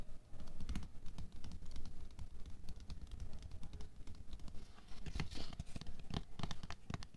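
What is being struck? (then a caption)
Plastic canister of water beads. Long nails tap and scratch the wall and clear lid of a tall, clear plastic canister with a paper label, full of red water beads and lying on white fur. A fast, steady stream of soft, dull clicks and brief scrapes continues throughout, with dense low-end thumps and short, dry hits that do not ring.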